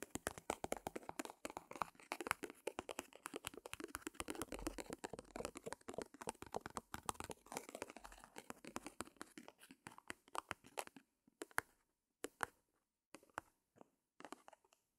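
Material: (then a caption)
Cotton canvas. Long-nailed fingertips rapidly tap and scratch the taut front face of a small white primed cotton canvas board, stretched and hollow over its frame. For about eleven seconds the sound is a dense, quiet stream of dry, crisp clicks and scrapes with almost no ring. It then thins to sparse, isolated taps separated by brief silences.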